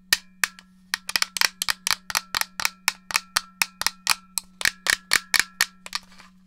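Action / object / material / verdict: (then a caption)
tap / plastic game controller shell and buttons / plastic / none. Long nails tap the hollow shell and press the buttons of a black plastic GameCube controller held in the hand, making about two dozen sharp, bright clicks at an uneven pace. Each tap is dry and dies away almost instantly, over a faint steady low hum.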